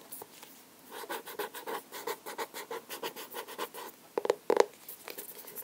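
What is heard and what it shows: Fingernails tap and scratch on the paper and cardboard cover of a solid, medium blue hardcover sketchbook with a label, held upright. A quick run of soft, dry scratching strokes gives way to a few sharper, louder taps near the end, then faint scratching again.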